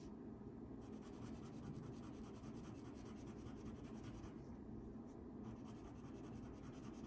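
A yellow wax crayon held in the fingertips rubs short strokes over a thin paper coloring page lying flat on a table. A continuous, soft, low scratchy rubbing runs steadily throughout with even loudness and no distinct separate hits.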